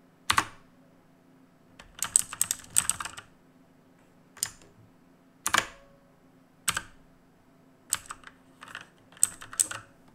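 Fingertips press and tap individual plastic keys on a black plastic and metal mechanical keyboard, producing sharp, bright clicks that come singly and in quick irregular bursts with short pauses between them. Each click stops almost instantly, over a faint, steady low hum.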